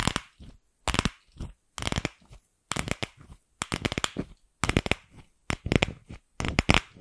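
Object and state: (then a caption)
Hollow plastic ball. Long nails tap and scratch the shell of a single empty, fist-sized pink hollow plastic ball. Short, irregular bursts of rapid clicking and scraping come with brief silences between them, crisp and bright with a faint hollow low thump underneath. Each sound stops almost at once, with no ringing.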